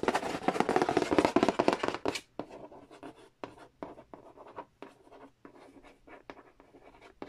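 Fingernails scratch and trace across the glossy printed cardboard lid and edge of a large, flat, hollow Monopoly Nintendo edition board game box. A dense, fast, papery scratching fills the first two seconds, then breaks into quieter, separate short strokes with brief pauses between them. The strokes are dry, with no ring after each one.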